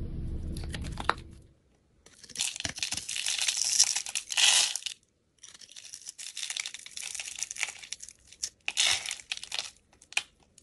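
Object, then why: Soap bar cut with a metal blade. A metal utility blade cuts and scrapes the scored surface of a solid, palm-sized, pink hexagonal embossed soap bar held in hand, with flakes falling away. Dense, bright, crisp scraping and crunching come in long bursts separated by brief pauses, after a soft low rumble at the start.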